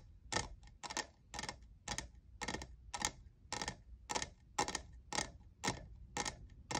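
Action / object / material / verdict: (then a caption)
tap / plastic tumbler / plastic / none. Fingernails tap the sides and logo of a hollow, lavender, diamond-textured plastic cold cup tumbler. A steady series of crisp, bright, dry taps fades almost instantly, about one every half second, over a faint low rumble.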